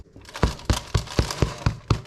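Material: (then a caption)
Bread. Seven quick, dull taps on the bottom of a baked soda bread loaf make short, low, hollow thuds with almost no ring. The hollow sound shows the loaf is well baked through.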